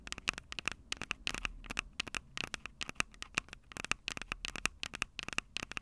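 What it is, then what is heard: Handheld recorder's metal mic grilles tapped with fingernails. Long acrylic nails tap rapidly on the metal-grilled microphone capsules of a small, hollow Tascam DR-05 handheld recorder with a plastic body. The result is a quick, irregular run of sharp, bright clicks and ticks, each ringing briefly around 2.6 kHz over a faint low rumble.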